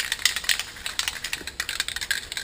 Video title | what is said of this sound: Mercedes Benz 560SL Vs Saab 97 Sports Car!! | shake this stuff until the ball stops rattling. So when it stops rattling, you're good.